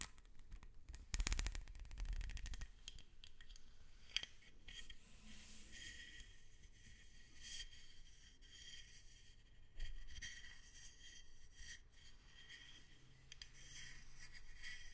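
A long, flexible, hollow black ribbed plastic hose is held upright while long red acrylic nails scratch and rub along its ridges. A burst of rapid, rasping ticks comes early, followed by steady, quieter scratching with a bright edge. A low rumble runs underneath throughout.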